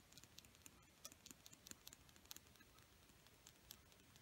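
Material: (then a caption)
Painted wood. A single small, dark red, painted wooden Crayola colored pencil is tapped and scratched with long painted nails close up. Many quick, soft, bright clicks and ticks stand out over a faint continuous hiss of scratching. The sound stays quiet and dry, with each click dying away almost at once.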